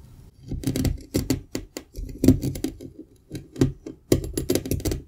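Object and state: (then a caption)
Kinetic sand block. A metal pizza cutter wheel repeatedly slices through a solid green slab of kinetic sand. Each pass gives a short, gritty crunching rasp, heavy in the low end, in bursts separated by brief quiet gaps.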